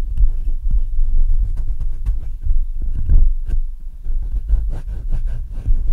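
Fingertips rub and tap the metal mesh grille and upper body of a black Blue Yeti microphone. The result is a steady run of deep, muffled thumps and rumbling, centered around 62 Hz, with faint scratchy crackles riding on top.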